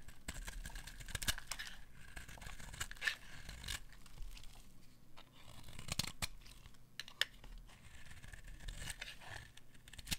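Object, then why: Bar soap scraped by a metal blade. A metal blade scrapes along the edge of a solid, dry white bar of soap held in the hand, peeling off crisp shavings. The sound is quiet, crackly scraping and tearing with a bright, hissy texture, broken by short, sharp clicks as the shavings come away.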